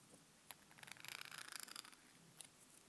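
Long manicured nails scratch and tap along the glittery, textured plastic handle of a slim makeup brush with a pink mermaid-tail end, held in both hands. The quiet, bright, crackly scratching swells into a dense run of fine clicks in the middle. Sharp, dry taps stand out near the start and end, with no ring after them.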